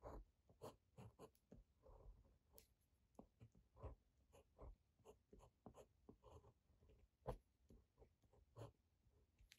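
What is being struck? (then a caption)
Ballpoint pen on notebook paper. A uni-ball one ballpoint pen tip scratches across thin grid-ruled Campus notebook paper lying flat and solid on a desk, writing Japanese characters and numbers. Short, soft, papery strokes come in quick irregular bursts with brief pauses between them. The sound is quiet and dull, mostly low and midrange, with little bright edge and almost no ring after each stroke.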